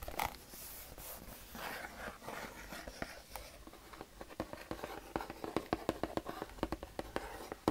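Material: Cardboard.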